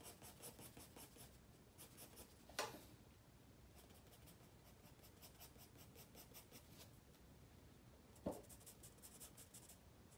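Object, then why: Graphite pencil on paper sketchbook page. A wooden graphite pencil rubs across a white spiral paper sketchpad lying flat, making quiet, scratchy drawing strokes in repeated bright bursts over a low background hiss. Two sharper, louder ticks stand out, one near the start and one near the end.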